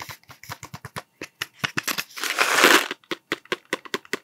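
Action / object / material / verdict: tap / cardboard tube with plastic cap / cardboard / none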